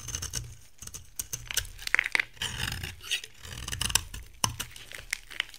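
A metal cutter blade scrapes and carves flakes from the edge and face of a dry brown bar soap with a green shell, held in the hand. Crisp, bright scrapes and sharp little clicks come in quick, uneven bursts, each dying away instantly over a faint low hum.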